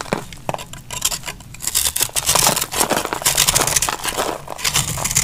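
A palm-sized chunk of dry, crumbly, solid brown soap is held in the hand and shaved and cut with a metal utility knife blade by someone with long painted nails. Bright, dry scraping and crunchy cutting crackles come in quick repeated strokes, building to denser, louder shaving through the middle and end.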